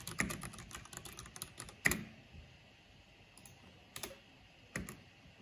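Fingertips with long painted nails type on a black plastic backlit mechanical computer keyboard with hollow plastic keycaps. A quick run of sharp, bright clacks fills the first two seconds, ending in one louder clack. A few isolated keystrokes follow, separated by short pauses.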